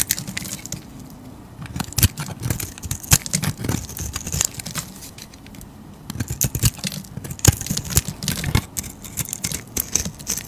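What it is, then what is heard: Soap bar being carved. A metal utility blade scrapes and carves a solid striped soap bar in a rapid series of short, dry, crackly scrapes. The sharp strokes carry a bright, high crackle over a soft low rumble, with brief quieter pauses between bursts.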